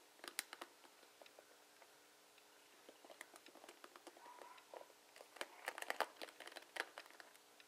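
A hand grips the ribbed rubbery handle of a dark plastic oval paddle hairbrush with plastic pin bristles, held over a wooden table, while the fingertips and nails of the other hand strum and scratch across the bristle tips. It makes quiet, dry, crinkly clicks and bright scratchy flicks that die away instantly. They come scattered at first, then grow into denser bursts of rapid ticking toward the end.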